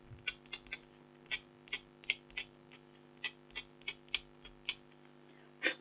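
A stylus scratches near the bottom edge of a flat, thin black-coated scratch art foil card held by a hand with long blue nails. Fourteen short, bright, dry scratching strokes come at uneven intervals, each stopping almost instantly, over a faint steady low hum.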